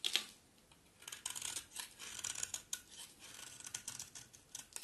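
A utility knife blade is pressed flat against the face of a solid, dry green bar soap, scraping off crumbly curls. A sharp scrape opens the clip, followed by a run of quiet, dry, crackly scraping strokes that are bright and high with almost no low end.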